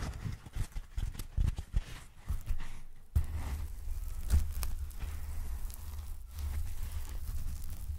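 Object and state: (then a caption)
Packing foam block. Fingertips tap, squeeze and rub a palm-sized, solid, light block of white polyethylene packing foam held in both hands close to the mic. The first three seconds bring a run of soft, dull, low thumps. These give way to a steady, muffled rubbing rumble that stays almost entirely in the low range.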